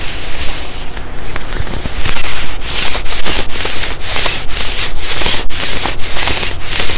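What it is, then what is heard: Quilted nylon puffer jacket being rubbed and scratched. A black quilted nylon puffer jacket is being worn while fingertips rub and scratch its padded chest and collar. The result is a steady, bright, papery swishing and scratching with a low, rumbly undertone. It pulses in a series of brief strokes.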